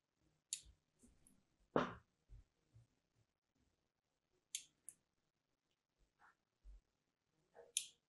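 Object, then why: Bar of soap. A small metal blade tool, held in a long-nailed hand, cuts thin grooves into a white, solid, hand-sized Duru soap bar held in the other hand. Quiet, crisp scratches and sharp clicks come in short bursts separated by silence, some with bright, hissy tops and others with dull low thumps.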